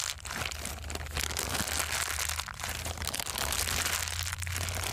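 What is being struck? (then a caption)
Thin plastic bag. A thin, empty, clear plastic bag is stretched open and crumpled by hand, giving a steady, bright crinkling and crackling for about five seconds. A faint low hum runs underneath.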